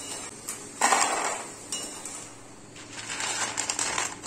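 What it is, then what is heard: Crispy fried potato pieces. Golden deep-fried potato pieces are put onto a plate, making light, bright clinks and rattles, with the loudest burst of clatter near the start and more scattered clicks toward the end. The crisp clinking shows the potatoes are crispy and fried through.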